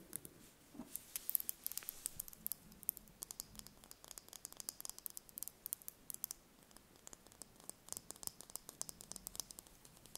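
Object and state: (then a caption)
Hen's egg tapped and scratched with fingernails. A small whole brown hen's egg held in the hand is tapped and scratched with long painted fingernails. Quiet, rapid, crisp clicks and light scratching make a dense, bright patter with very little low end. Each tap dies away almost instantly.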